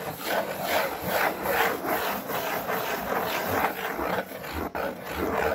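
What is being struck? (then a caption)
Corrugated cardboard sheet. Long painted fingernails scratch and rub across a large, flat, brown corrugated cardboard sheet. Loosely rhythmic, dry scraping strokes repeat at roughly two per second, with a papery hiss centered in the midrange and little low end. A brief dropout near the end interrupts the otherwise steady, continuous texture.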